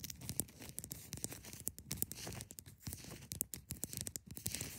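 A large solid block of ice is held at the sides while long nails scratch along its edges and sides. The result is a dense, dry scratching texture broken by many quick, sharp clicks, with bright hiss over a low rumble.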